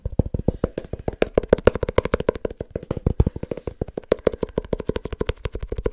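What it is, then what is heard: Small leather-covered book. A small, solid, dark leather-bound book is tapped quickly with fingertips and nails on its cover and edges. The result is a fast, uneven stream of short, dry taps with a soft low thump and a muted midrange knock. Each tap stops at once with almost no ring.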